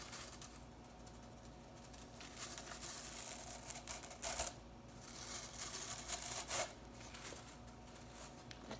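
Long fingernails scratch and flick through a bunch of blue synthetic broom bristles held in the other hand. The result is quiet, bright, crisp rustling and ticking, with short, sharp bursts over a faint steady low hum.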